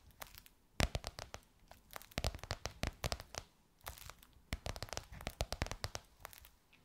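Long nails tap and scratch along the rounded edge of a box or book covered in gold crocodile-embossed faux leather. Quick, dry, crackly taps and scrapes come in irregular bursts with brief quiet gaps, each snapping off at once with no ring.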